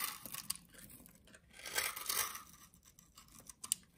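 A utility knife shaves and cuts into the surface of a solid cream-colored soap bar held in the hand. The result is a quiet, bright, dry scraping and crackling like tearing, swelling through a couple of longer strokes, with a few sharp little clicks between them.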